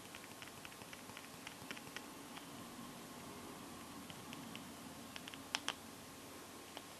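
Long gold-painted fingernails tap rapidly on the glass back and along the metal side frame of a small, solid teal Samsung smartphone. Quick, bright clicks patter over a low steady hiss, each one dying away almost at once, with a few sharper, louder taps near the end.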